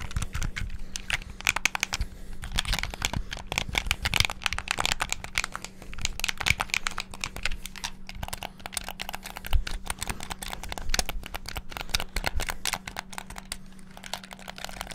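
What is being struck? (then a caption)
Plastic game controller buttons. Fingertips rapidly tap the buttons of a black, hollow plastic Xbox-style gamepad, producing a dense, continuous stream of short, dry plastic clicks. The clicks carry bright treble and die away almost instantly. A faint, steady low hum runs underneath them throughout.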